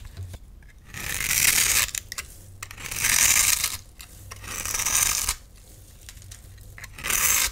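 A solid, hand-sized bright green bar of soap with an embossed face is held in one hand and scraped into curls and cubes with a metal utility knife blade. Four long, bright, hissing scrapes rise and fade with quieter gaps between them, and a low rumble runs underneath.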